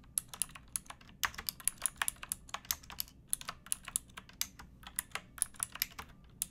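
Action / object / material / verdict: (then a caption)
tap / plastic mechanical keyboard keys / plastic / none. Both hands type with fingertips and nails on a pink backlit mechanical keyboard with plastic keycaps. A steady, uneven run of quick, bright clacks comes through, each dying away almost instantly over a faint low hush.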